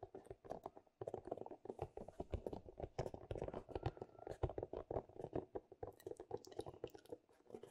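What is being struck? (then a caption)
Small plastic figurine night lamp. A small glowing Buddha-shaped plastic night light, likely hollow and changing color, is held in both hands and tapped and scratched with long dark-painted nails. Rapid, dense, dry clicks and scraping taps patter on with a hollow, low-mid body, after a brief pause near the first second. Each tap dies away almost instantly.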